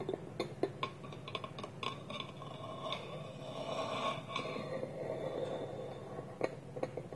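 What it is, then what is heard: Wooden lidded bowl. Fingertips and nails tap the side of a small, polished, hollow wooden bowl with its wooden lid held against it. The result is a quiet run of short, dry knocks and clicks with a hollow resonance around 500 Hz and bright edges. A softer, continuous scraping passage runs through the middle before sharper taps return.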